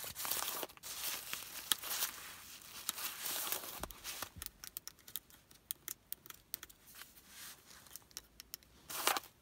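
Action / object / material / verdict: scrape / folded nylon umbrella fabric / nylon / none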